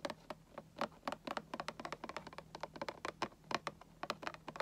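Fingertips and nails tap and scratch along the top of a hollow, printed cardboard Funko Pop box. The result is a quick, uneven run of soft, short taps with brief scratchy strokes that sound dry and slightly hollow. A faint steady low hum sits underneath throughout.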